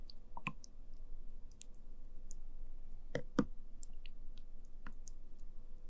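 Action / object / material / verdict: scrape / jelly pudding in plastic cup with wooden spoon / jelly / none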